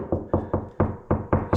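Seven knocks on a plywood sheet wall at a spot with framing behind it give short, low, dull thuds that die away quickly. The wall sounds solid there, unlike the hollow door-pocket area.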